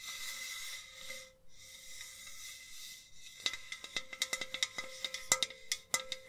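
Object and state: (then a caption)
Enamel metal jug vase tapped and scratched. A hollow white enamel metal jug vase is held up and rubbed with long nails, giving a steady, bright scratching hiss with a faint ringing tone for about three seconds. Long nails then tap it in a quick, uneven series of sharp, bright clicks, each leaving a brief metallic ring.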